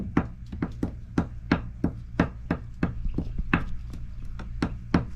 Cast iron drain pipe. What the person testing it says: that's solid that is a good sign